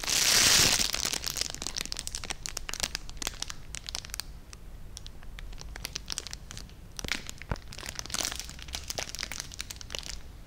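A small clear cellophane gift bag tied with red ribbon and holding treats is held in one hand and crinkled and rubbed with the fingertips close to the microphone. A loud, bright burst of crinkling opens the clip, then settles into dense, irregular crackles and rustles that swell again near the end.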